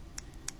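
Unfired bone-dry clay is tapped twice, giving two short, dull ticks that sound like wood rather than glassy like fired bisque. Each tick is brief with almost no ring, and a quiet low hum sits underneath.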